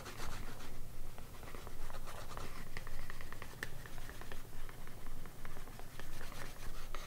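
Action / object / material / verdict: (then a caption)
scrape / leather panel edge rubbed with a wooden slicker / leather / none. The edge of a small, thin, solid piece of green vegetable-tanned leather, held in one hand, is burnished by rubbing it back and forth with a grooved wooden edge slicker. The result is a steady, rhythmic, dry rubbing and scratching of repeated short strokes, with a dull, low-heavy tone and little ring.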